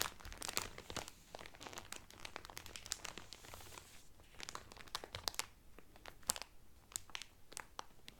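Fingertips and nails crinkle and rub the thin clear cellophane wrapper around a blue Carnival cotton towel folded flat. A dense run of sharp, bright crackles and crinkles plays, with quick snapping peaks over a soft, rustling bed. The sound stays mostly high and papery, with little low end.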